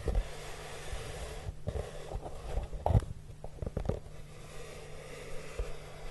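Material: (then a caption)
Cardboard. Fingertips with short nails stroke and rub the surface of a large, flat, hollow brown corrugated cardboard box, first with one hand and then with two. The result is a soft, low, hollow brushing texture dominated by deep rumbling tones, with a few slightly louder scuffs and quiet papery friction above.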